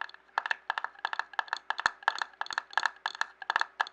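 Fingertips and nails tap a clear glass jar filled with paper scraps, first lying on its side and then turned upside down. A quick, uneven run of about eighteen sharp, bright taps each carries a short glassy ring near 1.7 kHz that dies away almost at once, with no low end.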